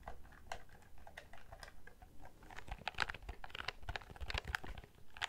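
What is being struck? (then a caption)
Plastic desk calculator keys. Fingertips of both hands press the keys of a black plastic desk calculator, first held up and then moved to the side. Quick, dry plastic clicks and taps come in an uneven, rapid patter, each one short with almost no ring, plus soft low thumps beneath the brighter clicks.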